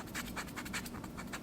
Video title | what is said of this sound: Temu Kitchen Knife Haul: Cutting Edge Review | my fingernail is scratching the plastic